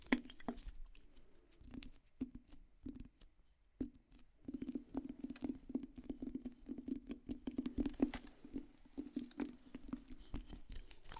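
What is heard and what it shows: A wooden object is tapped in quiet, irregular bursts, with sparse knocks at first and a brief pause before steadier, denser tapping. Each tap is short and dry with a hollow, low-mid woody tone and almost no ring.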